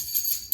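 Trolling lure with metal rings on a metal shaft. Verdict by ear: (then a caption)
Loose. A Wahoo Knocker trolling lure is moved, and the metal rings on its metal shaft, used in place of an internal rattle, rotate and bang against the shaft to make noise in rough water. The result is a short, quiet, bright metallic jingle with almost no low end, ending in a brief sharper clink.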